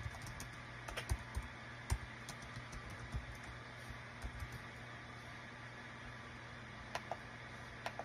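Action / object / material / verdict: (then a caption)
tap / small plastic keyboard / plastic / none. A small light-green plastic Dong Guan KPH-030 wireless Bluetooth travel keyboard with a built-in touchpad lies flat on a desk mat while both hands type on its small plastic keycaps with their fingertips. Light, short key taps and presses come at an irregular pace over a steady low hum.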